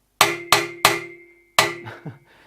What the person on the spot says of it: you can hear straight away that the metal is much thinner and much more rigid